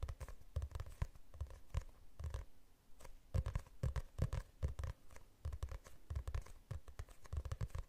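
Fingernails scratch across the glossy cover of a medium hardcover book with a city image on it, held in the hands. Quick, dry scratching strokes and soft taps come in dense, uneven bursts, each dying away almost instantly with a low, muffled body.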